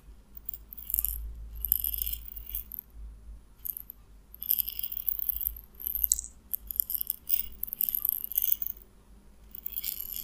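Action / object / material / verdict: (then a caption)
shake / small glass bottle with pellets / glass / none. A small clear glass bottle with a white plastic cap, partly filled with white round pellets, is held in the fingers and shaken in short bursts. The pellets rattle against the glass with bright, crisp clicks, separated by brief pauses. A steady low hum runs underneath throughout.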